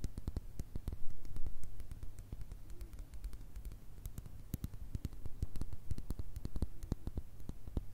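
Long red nails tap and scratch a mini glass Nutella jar with a white plastic lid that looks full of spread. Quick, uneven clicks come in a dense patter with short, bright ticks over a steady low hum, and faint scratchy rustles fill the gaps.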